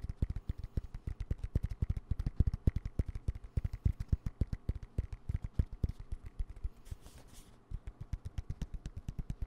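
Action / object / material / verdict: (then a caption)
tap / padded nylon fabric pouch / nylon fabric / none. A dark green padded nylon fabric pencil pouch with a yellow zipper is held upright and tapped and scratched with fingertips and nails. Rapid, dull, low thumps with very short decay come in a steady stream. Near the end there is a brief, soft, breathy scratch before the tapping resumes.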